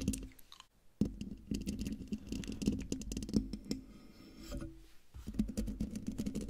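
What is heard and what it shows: Long dark nails scratch and tap the hollow metal mesh grille of a silver condenser microphone. Close-up, dense crackly scratching mixes with quick, dry taps that thump low with a hum-like tone around 215 Hz. There is a brief silence just before the first second and a softer lull midway before the tapping picks back up.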